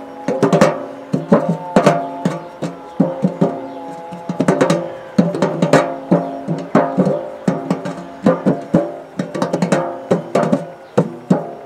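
The purple embossed metal lid of a large round hollow biscuit tin is tapped and scratched with the fingertips and nails. Quick, irregular bursts of taps give off short, ringing metallic tones with a low hollow resonance that fades within a fraction of a second.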